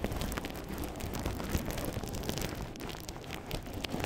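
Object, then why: Plastic bubble wrap sheet. A thin, clear, air-filled plastic bubble wrap sheet is held flat in both hands while fingertips crinkle and press the bubbles. A steady, dense crackle of small snaps and rustles runs throughout, with a heavy low rumble underneath and occasional sharper clicks.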